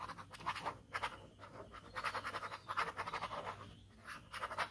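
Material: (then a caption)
Paper. A ballpoint pen tip scratches repeated short strokes near the edge of a flat white paper sheet bearing a scribbled ink skull. The result is a run of dry, raspy scratching bursts centered in the midrange, with brief pauses between strokes.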